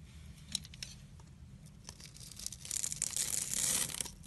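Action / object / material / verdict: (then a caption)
scrape / soap bar cut with a blade / soap / none. A utility knife blade scores and scrapes a solid oval pink soap bar, held in a hand with dark painted nails, cutting it into small cubes. Quiet, bright scratchy scraping with a few sharp clicks builds into a denser, louder hiss of shaving toward the end.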